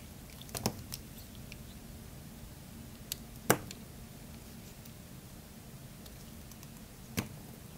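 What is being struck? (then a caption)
Bar of soap cut with a small metal blade. A solid purple Lux bar soap, held in one hand, is carved and scraped with a small metal blade, peeling off curls. A few short, crisp scraping clicks with bright edges stand out at irregular moments over a quiet, steady low background hum, the sharpest one near the middle.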